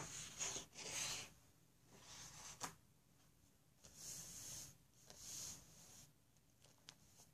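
Fingertips and short nails tap and scratch across the orange card cover and edge of a closed paper sketch pad stacked with sheets, lying flat on a table. Bright, dry scratching and rubbing bursts alternate with quiet gaps and a few sharp, short taps.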